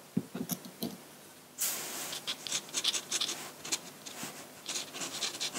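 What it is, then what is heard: Drawing paper scratched with a metal pen nib. A metal dip pen nib scratches hatching onto a large flat sheet of white drawing paper. A few soft, quiet ticks come first, then a run of bright, dry, rasping strokes that swell and fade one after another with no ring.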